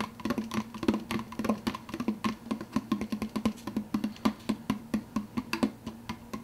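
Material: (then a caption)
Plastic. Fingertips tap quickly on the clear plastic lid of a large, empty, hollow plastic soda cup. About 39 crisp, hollow knocks follow one another in a steady, uneven rhythm, each ringing briefly with a low tonal resonance.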